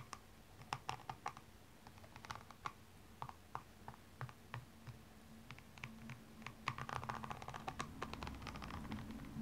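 A slim metallic tool scratches the rhinestone-covered upper of a single blue rhinestone stiletto standing upright, working near the arch and heel. Quick, dry clicks and scratchy ticks come in irregular bursts, growing busier and denser toward the end over a faint low hum.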